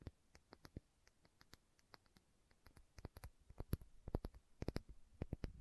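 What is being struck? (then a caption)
Small filled glass bottle with plastic cap. Long nails tap and scratch the labeled body of a small, filled glass condiment bottle with a red plastic cap. Quiet, irregular clicky taps with bright, brief ticks mix with soft scratching. The taps come quicker and a little louder toward the end.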